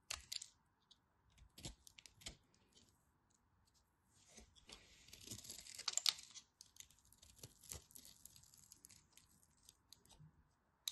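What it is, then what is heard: Bar soap being carved. A dark craft knife blade scrapes and carves flakes off the surface of a solid pink and white striped bar of soap held in fingers with long white nails. Crisp, bright scraping and short crunchy cuts come in scattered bursts, with a denser, steadier stretch of shaving in the middle. The sound is quiet and high-pitched, with almost no low end, and each cut stops instantly.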